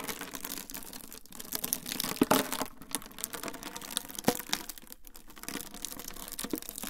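A rolled, transparent clear plastic wrap tube is held in both hands beside the recorder and twisted and squeezed. It gives a steady, dense, bright crinkling and crackling, with a few sharper, louder snaps standing out partway through.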